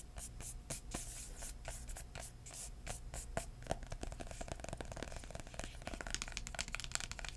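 A hardcover book, held flat and then tilted, has its cover tapped with short-nailed fingertips. A quick, uneven run of soft, dry taps with bright, crisp edges plays over a steady low hum. Each tap dies away almost instantly.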